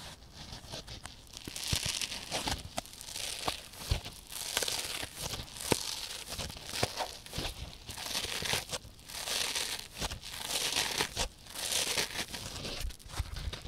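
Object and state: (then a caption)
Dry kitchen sponge with scouring pad, scratched. Long painted fingernails scratch across the teal abrasive scouring pad on top of a single dry, palm-size rectangular kitchen sponge of soft, porous yellow polyurethane foam held in both hands. Bright, dry rasping comes in repeated swelling bursts with a crinkly, tearing-like texture, dotted with short sharp clicks and very little low end.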